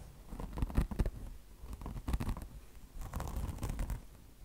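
Long blue nails on both hands scratch a beige mesh fabric chenille car wash sponge, with a mesh top over foam. The result is soft, muffled, low scratching that comes in three rough clusters of quick rasping strokes, each followed by a quiet pause.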